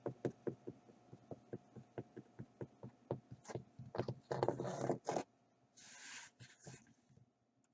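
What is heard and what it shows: Fingertips and nails knock and tap the painted surface of a flat, rectangular stretched-canvas Eiffel Tower print on a wooden frame, lying on a dark surface with a hollow space behind the canvas. A steady run of short, dull, hollow taps speeds up, then gives way to longer scratchy, hissing rubs across the canvas before fading out.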